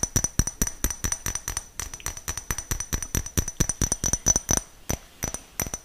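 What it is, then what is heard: Small glass jar. A small, clear, hollow glass jar that appears empty is held in the hands close to the mic and tapped quickly and irregularly with fingernails. Each tap makes a short, bright clink with a faint high ring over a soft low thump, and the sound dies away almost at once. The tapping runs steadily and loosens into sparser taps near the end.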